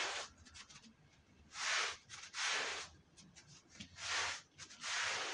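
A long-handled stiff brush scrubs a damp, dirty, red patterned woven wool Persian rug. Five loud, broad, bright hissing strokes stand out, with fainter brushing scrapes between them. Each stroke swells and fades without ringing.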